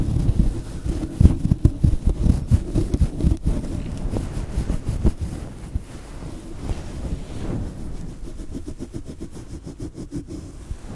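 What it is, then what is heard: Synthetic fur microphone windscreen being rubbed. A fluffy grey-white synthetic fur windscreen on a small microphone is squeezed, rubbed and scratched with the fingertips of both hands. This produces dense, muffled low rumbling with soft thumps and crackly brushing bursts. The sound is loudest in the first half and grows quieter toward the end.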